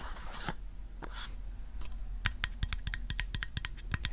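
Fingertips and nails scratch and tap rapidly along the side of a hollow, medium white plastic supplement bottle with a paper label. Soft, scratchy brushing sounds come first, then a quick run of sharp, bright, dry taps that stop almost instantly, over a low, steady rumble.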